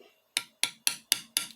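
A valve stem seal on a metal valve guide in the cylinder head of a Mitsubishi Triton/Challenger/L200 2.5L 4D56 diesel is gently tapped down with a hammer and installer. Six sharp, bright metallic taps with very little ring are heard, and the sound changes once the seal bottoms out, showing it is fully seated.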